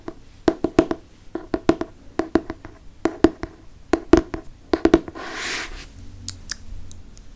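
A fingertip and nail rub and trace the cover of a Harry Potter hardcover book with a moon cover. A quick run of short, dry, hollow taps with a low woody tone rings off almost instantly. Near the end comes a brief breathy scratching swipe, followed by a few softer taps.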